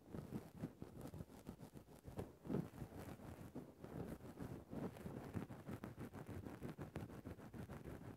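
A thin bamboo stick pokes and scratches the top of a grey synthetic faux-fur microphone windscreen. Close, muffled, low rustling and scraping comes in dense bursts, dull with almost no high end.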